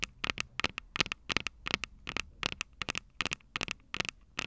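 Long purple nails on both hands tap and scratch the small metal X/Y microphone capsules on top of a plastic Tascam DR-05 recorder, the same mic doing the recording. About 19 sharp, bright clicks land in quick, irregular clusters, each stopping almost instantly with a crisp ticking tone around 2.5 kHz and very little low end.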